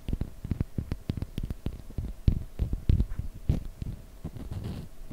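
Long fingernails tap and scratch the faces of a small solid block of light unfinished wood held in the fingers. Quick, dry, low knocks come in an uneven stream with short scratchy rubs between them, each dying away almost instantly.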